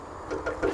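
Knuckle knocks on a faux stone column made of fiber and cement at a factory that makes such columns, with rough fiber visible on the inside. The knocks give short, hollow taps with a midrange ring around 340 Hz that fades quickly. They sound like metal rather than stone.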